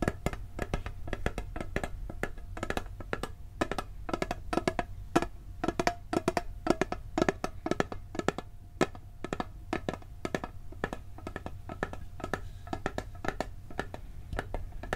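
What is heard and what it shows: A round, hollow blue steel cookie tin has its lid and rim tapped with fingertips and nails. The result is a dense run of quick, dry, clicky taps with a faint metallic ring. A low rumble sits steadily underneath.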